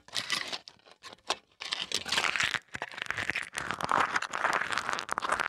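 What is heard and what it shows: Thin aluminium foil wrapped around a small mini microphone is crumpled and crinkled with fingertips. Dense, bright crackling comes in short bursts at first, with quieter pauses, then builds into a steady stream of sharp crinkles and crunches.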